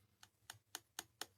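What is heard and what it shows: Five light, sharp clicks from tapping on a fast-setting polyurethane resin embellishment still in its mold. Each tap is a short, bright tick with almost no ring. The hard sound shows the piece has fully cured.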